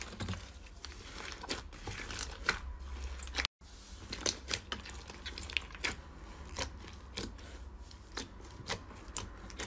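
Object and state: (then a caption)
Fluffy slime being pressed. Soft pink fluffy slime with small bits mixed in fills a clear rectangular plastic container and is pressed, pushed and stretched with the fingertips and palms of both hands. The result is a steady bed of crackly, crinkly squishing, punctuated by sharp, bright sticky pops and clicks over a low rumble, with a brief silent gap near the middle.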